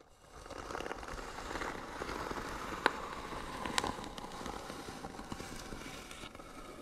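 Short fingernails scratch the lid of a hollow white wooden box, giving a steady dry scraping rustle with faint crackles. Two sharp ticks stand out, one near the middle and one just after. The hand briefly leaves view.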